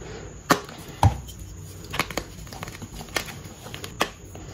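A solid, brittle, palm-sized pink dyed gym chalk block is crushed and crumbled between the fingertips and palms into chunks and powder over a tray. Several sharp, dry cracks and crunches stand out at irregular intervals, some with a low thud, between them soft gritty crumbling. Each break is short with almost no ring.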